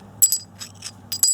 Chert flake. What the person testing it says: a real good sign it's either heat-treated or really high-grade material